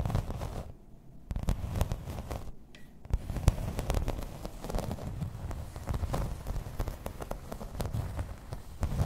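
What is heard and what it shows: Long red nails tap and scratch in place on a grey embossed plastic placemat lying flat. The result is a dense run of quick, dry clicks and rough scratching crackle with a deep, low-heavy body. Each tap dies away almost at once, with brief quieter gaps between bursts.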